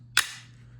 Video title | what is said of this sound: RST: Is the Alien Gear Photon the best CC Holster ever? | You can hear it. Snaps in, shake it, goes nowhere.